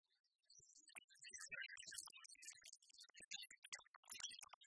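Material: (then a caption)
Coffee beans. A flat hand presses down on a layer of loose, whole, dark roasted coffee beans on a white plastic tray, then the fingertips dig into and rake through them. After a brief near-silent start, a dense, scratchy, rustling rattle of bright, sharp clicks follows, with little low-end weight.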